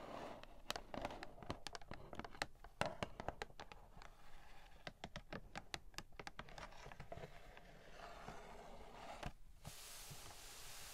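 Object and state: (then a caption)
Cardboard toy box tapped and scratched with nails. Long nails tap and scratch the printed front of a hollow, medium-sized pink cardboard toy packaging box with a teapot print. Quick, sharp dry clicks arrive in an irregular flurry over a soft scratchy bed. Near the end they give way to a steady, bright scraping hiss.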